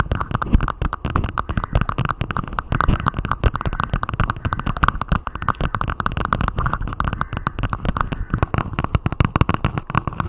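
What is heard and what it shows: Long nails on both hands rapidly tap and scratch a hollow clear plastic dome cup lid resting on a microphone. The result is a dense, continuous stream of crackly clicks over boomy low thuds, each tap dying out almost at once.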